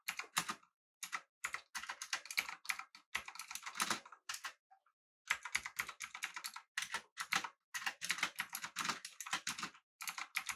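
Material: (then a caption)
Plastic, aluminum. Both hands type with their fingertips on a full-size, backlit, typewriter-style mechanical keyboard with an aluminum body and round plastic keycaps. Quick bursts of bright, crisp clacking keystrokes are broken by brief pauses. Each click is sharp and dies away almost at once, with no low thump.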